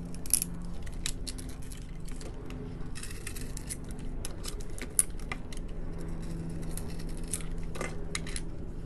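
A hand-sized solid blue soap bar with an orange glitter layer, held in the hand, is cut and scraped with a metal utility knife blade in a scratching action. Quick, dry, bright scratches and crisp clicks repeat throughout, with a sharper snap near the middle, over a steady low hum.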